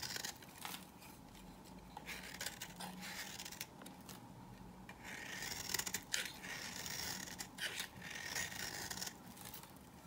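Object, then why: Bar of soap scraped with a knife. A knife blade scrapes shavings off an old, dry, powdery beige bar of soap held in the hand. The result is a series of dry, rasping, bright scraping strokes in an irregular rhythm, with brief quiet gaps between the louder passes.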